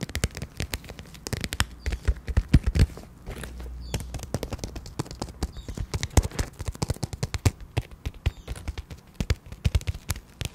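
Long painted nails tap and scratch the surface of a small pink glitter vinyl zippered makeup pouch, held horizontally close to the microphone with both hands. Quick, sharp, dry taps with a low, thumpy body come in uneven bursts throughout. A brief stretch of steadier scratching sits in the middle.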